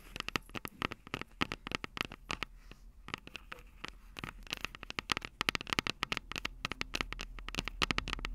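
Long purple nails tap and scratch around the silver metal mic capsules of a Tascam DR-05 handheld audio recorder. Dozens of sharp, bright clicks with no ring come in quick, irregular bursts, peaking around 2.7 kHz. Soft scratching fills the gaps over a steady low rumble.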